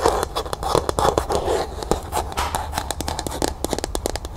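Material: Plastic.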